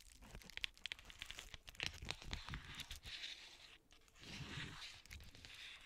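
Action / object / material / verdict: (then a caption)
scrape / plastic bubble mailer / plastic / none. An iridescent plastic bubble mailer, held up by its top edge, is crinkled with long nails and fingertips. The result is bright, crackly crinkling broken up by sharp, quick nail clicks and taps, with swells of hissy rustle near the middle and the end.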